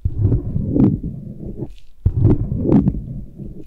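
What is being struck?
Silicone ear scraped with a thin metal blade.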